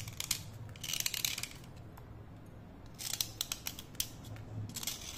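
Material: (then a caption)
Slate. A thin, solid slate pencil is held vertically and scraped with a utility knife blade, spraying powder onto a plate. Short bursts of bright, gritty scraping come in quick clusters, separated by quieter pauses over a faint low hum.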